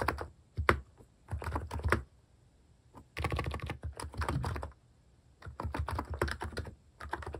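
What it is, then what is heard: Plastic keycap keyboard typing. Fingertips type on a plastic-keycap mechanical keyboard in uneven bursts of rapid keystrokes separated by short pauses. Each press is a short, dry click with a soft low thud and little ring.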